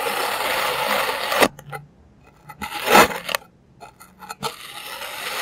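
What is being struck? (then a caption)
Molded block of kinetic sand cut with a plastic knife. A clear plastic serrated knife cuts thin slices off a solid, palm-sized molded block of green kinetic sand. A steady, bright gritty scraping hiss runs at first, then drops to near silence broken by short crisp crunches and one louder grainy cut. The scraping hiss returns at the end.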